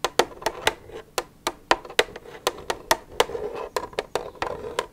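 Long nails tap and scratch the side of an empty, hollow plastic milk jug, making 17 quick, sharp clicks. Each tap has a bright attack and a short hollow ring around 480 Hz, with soft scratching between the taps.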